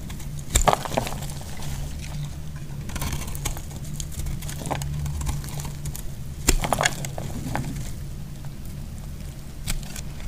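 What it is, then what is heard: Bar soap being shaved. A solid orange bar soap, partly carved and held in hand, is shaved with a utility knife blade. Short, sharp scraping crackles stand out over a steady low hum, with the strongest clusters near the start and just past the middle.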